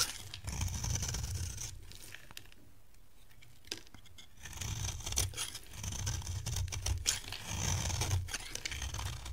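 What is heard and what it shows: A dry, beige oval bar of solid soap held in the hand is scraped and shaved with a metal box-cutter blade. Bursts of quick, rough scraping strokes mix a low rumble with a bright, hissy crackle, and a quieter pause falls in the middle before the shaving picks up again.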